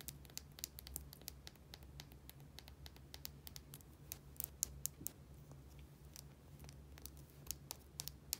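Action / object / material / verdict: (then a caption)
tap / small plastic bottle with cap / plastic / none. A small plastic bottle with a white dome cap, held in the fingers, is tapped and scratched with long nails. Quick, bright clicks and dry scratching come in an irregular stream over a quiet, steady low hum.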